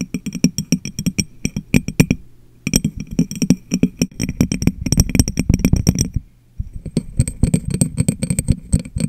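An empty, clear, medium-sized glass jar is turned upside down over a microphone and tapped rapidly with long nails and fingertips. The taps are short, hollow, low-pitched thuds with a faint bright click on top, and they stop with no ring. The tapping comes in quick bursts with two brief pauses.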